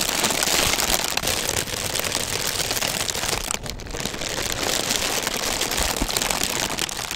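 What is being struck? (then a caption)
Folded paper honeycomb fan. A large pink folded-paper honeycomb fan is held against the microphone while fingertips rub, squeeze and scratch its pleated paper. The result is a dense, steady, bright crinkling texture like rain, with a brief dip in loudness near the middle.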